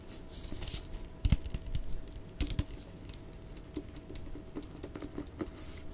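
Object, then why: Paperback book with glossy paper cover. Fingertips and nails tap and scratch the glossy printed cover of a solid Avatar paperback book held up in both hands. Soft, dull low taps come in quick irregular clusters, with a louder burst of knocks early on, over faint brushing scratches and a thin steady hum.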